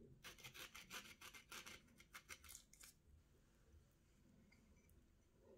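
A small steel knife scrapes and slices the rind off a partly peeled orange held in the hand, and the strips of peel pile up on a plate. About seventeen quick, bright, rasping strokes come in a fairly regular run over the first three seconds, then give way to quiet, faint handling for the rest of the clip.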